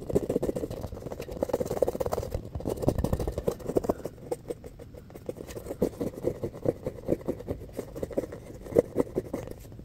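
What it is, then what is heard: Foam ball being scratched. A palm-sized, solid, rainbow-colored foam ball is scratched with fingernails and squeezed in the hand. It makes a rapid, dense stream of dry scratching and crackling ticks with a mid-pitched squeaky tone. A busier stretch in the first few seconds gives way to sparser, sharper scratches with short pauses between them.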